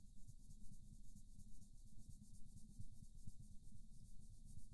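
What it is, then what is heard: Paper coloring page rubbed with a colored pencil. A wooden colored pencil scratches and rubs across a paper mandala coloring book page resting on a soft surface, making short coloring strokes. The sound is a steady, low, soft scratchy rubbing in quick, uneven repeated strokes.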